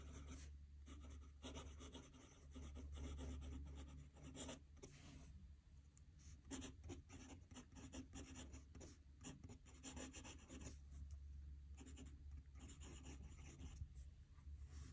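A metal fountain pen nib scratches across a squared paper notebook page lying flat on a desk as a hand writes. Quiet, bright, papery rasping strokes come in quick bursts and short pauses over a steady low hum.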